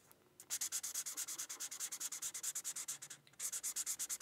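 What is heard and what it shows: A teal felt-tip marker rubs in quick back-and-forth strokes across a thin white paper coloring sheet resting on a book. It makes a bright, scratchy hiss that pulses with each stroke, pauses briefly, then resumes.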